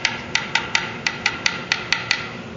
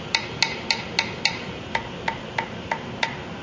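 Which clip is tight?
The first.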